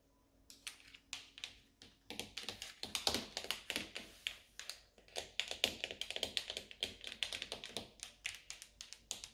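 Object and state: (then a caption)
Stainless steel dishwasher control panel. Long orange nails tap on the brushed stainless steel control panel of a Siemens dishwasher, a solid flat strip with round buttons. The result is sharp, bright clicks with almost no ring: a few spaced taps at first, then quick, dense clusters of tapping for the rest of the clip.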